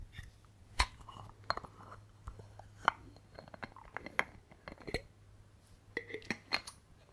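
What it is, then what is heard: Glass water bottle. Fingertips tap a clear glass VOSS bottle with a silver cap, partly filled with water, held in the hand and tapped on the glass and on the cap. The result is a quiet, irregular series of bright, short clinks and soft clicks that die away almost instantly.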